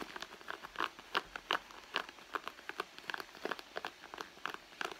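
Long nails scratch the leather near the seams of a red leather handbag lying flat. The result is a quiet, irregular series of short, dry scratching ticks with a bright, crackly edge and almost no low end, each sound dying away almost instantly.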